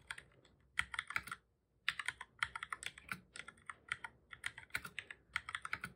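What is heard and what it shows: Fingertips of both hands type on a black full-size plastic computer keyboard, producing quick, bright plastic key clicks centered around 1.7 kHz with almost no low end. The clicks come in rapid bursts with a brief silent pause just before the two-second mark, and each click dies away almost instantly.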